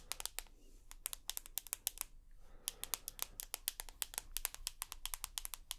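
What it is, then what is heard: Smartphone with aluminium frame, tapped with nails. Long fingernails tap and scratch along the aluminium side edge and buttons of a rose gold iPhone with a glass screen and aluminium body, held edge-on. Dozens of quick, sharp, bright clicks come in an uneven stream, each cut off almost instantly. A faint, soft scratching runs underneath at a quiet level.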